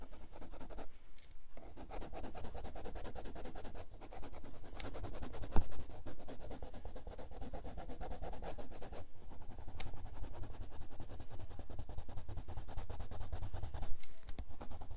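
A spiral-bound grey paper sketchbook lies flat on a wooden desk while its page is steadily rubbed and scratched with the wooden tip of a red colored pencil to shade an apple drawing. Dense, rapid scratchy strokes run continuously under a heavy low rumble, with a few brief pauses and a sharp tick partway through.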